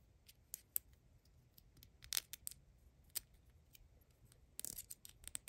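Long acrylic nails tap on a small, hollow plastic replica of a Hellmann's mayonnaise jar with a blue lid, held in the hand. The quiet, bright clicks come at an irregular pace, some alone and some in quick clusters. Each one stops almost instantly, with no ring.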